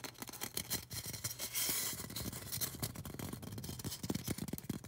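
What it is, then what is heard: Styrofoam cone scratched and tapped. Long orange nails scratch and tap the sides of a tall, solid white polystyrene foam cone held upright. The result is a dense run of quick, dry scratches and clicks with a broad hiss, plus a longer rasping scrape around the middle.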